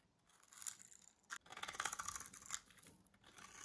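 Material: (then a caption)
Soap. A small metal blade scrapes pre-scored cubes off a green bar of dry solid soap held in the hand. The result is quiet, crisp, dry scraping and crumbling that is mostly bright with almost no low end, with a brief sharp snap partway through before the scraping resumes.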